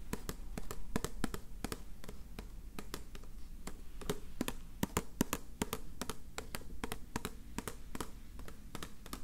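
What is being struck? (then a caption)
Plastic tube filled with pencils. A small clear plastic cylindrical tube with a recycled-paper base, filled with twig pencils, is held in one hand while the fingertips of the other hand tap its plastic wall. The result is a steady run of quick, dry, hollow taps that stop almost instantly, with a low, muted body and very little brightness, over a faint low background hum.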